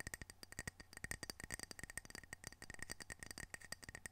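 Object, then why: Glazed ceramic tile coaster. Fingertips and nails rub and scratch the glazed surface of a small, solid, square ceramic coaster with blue mountain art, held in the hands. The result is a quiet, rapid, uneven series of dry clicks and scrapes, each with a brief bright tone near 1.9 kHz that dies away almost at once.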